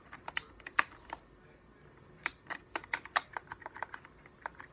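A hollow, translucent blue and white plastic game controller has its buttons clicked with the thumbs, then is flipped over so its translucent back shell can be tapped with the fingers. About sixteen dry, sharp plastic clicks and taps come in uneven bursts, each with a bright, clacky snap centred near 1.2 kHz that dies away almost instantly. There is no low rumble.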